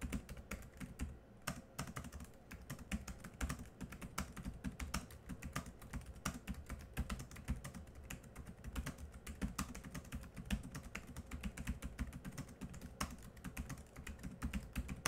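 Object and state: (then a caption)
Plastic laptop keyboard being typed on. Both hands type quickly with their fingertips on a laptop keyboard with black plastic keys. A fast, steady stream of short, dull clicks and taps with a low, thumpy body and little high end runs through the whole clip, each tap dying away almost instantly.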